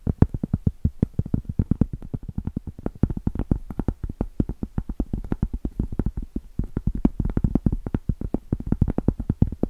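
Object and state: Cork board tapped with fingernails.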